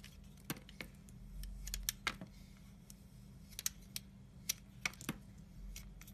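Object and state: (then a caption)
Bar of soap being shaved. A yellow utility knife with a black snap-off blade shaves and scrapes thin curls off the edge of a hand-sized, solid white oval bar of soap held in the fingers. Short, dry, bright scraping ticks and crackles come in irregular bursts over a quiet, steady low hum. Each cut is sharp and dies away almost instantly.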